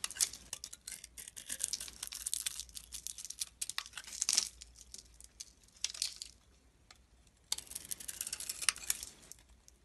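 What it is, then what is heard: Bar soap being carved. A palm-sized solid bar of soap with a purple glitter coating and a cream-colored inside is held in the hand and carved and scraped with a metal blade. Bright, crackly scraping and crumbly crunching come in dense bursts, with a brief quiet pause before one last stretch of scraping.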